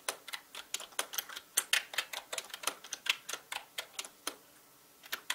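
Fast fingertip typing on a full-size black mechanical gaming keyboard with plastic keycaps and a hollow body gives a rapid run of sharp, bright clicks with almost no low end. The keystrokes come in quick irregular bursts, then pause briefly near the end before a few final taps.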